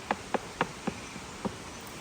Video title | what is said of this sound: Culvert Crawlers Community Science Survey Tool: How to Use It! | So, to check for the material of the pipe, I usually like to just give it a tap. As you can hear, this one sounds pretty dull, so I'm going to say it's a plastic pipe.